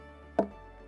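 A stone knocks once against a palm trunk that is hollow inside and widens as it grows, giving a single hollow, pitched knock centered around 660 Hz. The knock decays within a fraction of a second over a steady low background hum.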